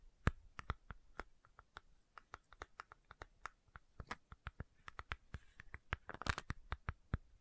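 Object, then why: Plastic bottle with screw cap. Long nails rapidly scratch and tap the screw cap of a medium white plastic fish oil supplement bottle held close to the mic. About 35 short, dry clicks and scrapes land in an irregular stream, each fading almost instantly. A few brighter, noisier scratches come near the end.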